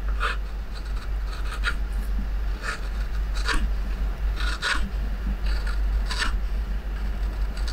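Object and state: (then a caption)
Wooden plate rim being carved. The rim of a wooden plate, held down by a red clamp, is carved with a curved metal hook gouge that scrapes along the edge and sends off shavings. Short, bright rasping scrape strokes repeat over a steady low hum.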